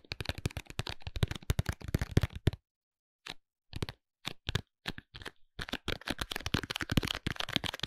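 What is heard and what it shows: A sealed, rectangular clear plastic packaging case holding a white cosmetic bottle is tapped with fingertips and short nails. Quick bursts of crisp, hollow plastic clicks and taps rattle along with a low knocking body, pause for about a second, return in sparse pairs, then build into a dense flurry of tapping.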